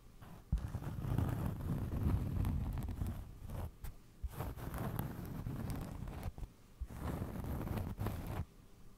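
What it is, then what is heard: Cork trivet. A round cork trivet held close to the microphone is scratched and tapped with fingernails. The result is a dense, low, muffled scratching and rustling, broken by brief pauses and a few sharper taps.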